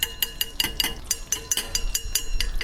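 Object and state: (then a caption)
Sugar syrup set hard, at hard-candy stage. A hardened drop of coconut-milk sugar syrup, set in cold water, is tapped repeatedly against a hard surface, giving about 13 short, bright, glassy clinks. The glass-like sound shows the syrup has reached the hard-candy stage, around 125–131 °C, and is ready to pull.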